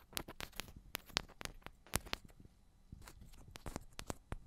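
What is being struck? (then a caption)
Metal microphone body. Long pointed ombre nails tap the tops of two identical silver metal cylindrical microphones. The result is a quick, irregular patter of sharp, bright clicks that stop almost instantly, with no ring, over a soft low rumble at a quiet level.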